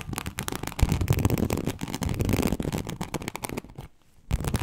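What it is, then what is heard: Embossed leather sheet being scratched. Long acrylic nails scratch deeply and slowly across a large, flat, teal snakeskin-embossed leather sheet. The result is a dense run of rough, crackling scrapes with a heavy low-end thump. The sound drops to near silence for a moment, then the scratching resumes.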